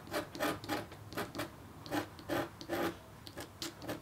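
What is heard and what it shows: A red-handled, metal-tipped stylus makes rapid, short scratches across a flat, black-coated copper foil scratch art sheet. Each stroke is a dry, rasping burst with a low-mid body around 340 Hz and a bright, hissy edge. The strokes come in an uneven rhythm over a quiet background.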